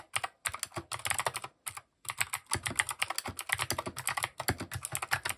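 Steady fingertip typing on a compact mechanical keyboard with plastic keycaps and RGB underglow produces a rapid stream of bright, sharp clicks and clacks. The keystrokes come in quick bursts with brief pauses, each hit dying away almost instantly.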